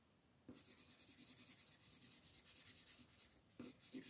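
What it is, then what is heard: Colored pencil shading on a paper page. A wooden colored pencil is rubbed in short, rapid shading strokes across a flat printed paper coloring book page on a table, while the other hand, with long green nails, holds the page. After a near-silent start, a steady run of soft, bright, scratchy strokes begins, pauses briefly, then resumes with a few louder strokes.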